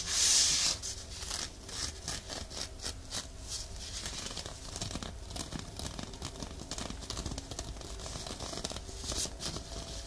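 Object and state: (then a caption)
Woven nylon exfoliating glove scratched. A hand-sized, soft, hollow woven nylon exfoliation mitt is worn on one hand and draped over the top of a binaural microphone, then scratched with the fingernails and fingertips of the other hand. A loud, bright rustling burst opens the clip, followed by steady, dense, crinkly scratching that is mostly high and hissy with a faint low rumble beneath.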